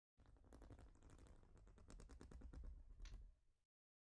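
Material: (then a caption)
Plastic. Long nails rapidly tap and scratch across a large, flat, plastic Lego-style studded baseplate. The result is a dense, uneven run of quick clicking taps and scrapes with a muffled, low-heavy body, lasting about three and a half seconds before it stops.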